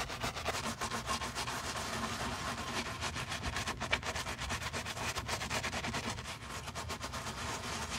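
A wooden-handled bristle brush scrubs the soapy, foamy leather side and heel of a white leather Miu Miu sneaker held in a black-gloved hand. It makes a steady, bright, scratchy rubbing noise in quick repeated strokes, about four per second, with a faint low rumble beneath.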